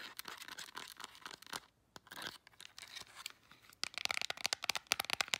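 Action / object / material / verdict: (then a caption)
scrape / plastic remote control / plastic / none. Long nails scratch and tap a black plastic LED remote control, first across its back panel and then over the buttons. Dry, bright scratching runs through the first half with a brief pause, then gives way to rapid, sharp clicking taps with almost no low end.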